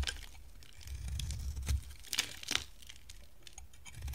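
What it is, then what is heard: Bar of dry soap being shaved. A solid, hand-sized, rectangular pink bar of dry soap with a ribbed teal rim is shaved with a box-cutter blade. It makes dry, crisp scraping and crunching, with a few sharper bright crackles standing out over a low rumble.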